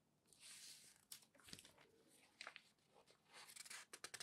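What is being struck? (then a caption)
Newsprint newspaper. Fingertips rub the page of an open newsprint newspaper, then a large sheet of the thin paper is lifted and turned. The result is a soft, bright rustling, broken by sharp crinkling snaps as the sheet moves, with almost no low end and a fairly quiet level overall.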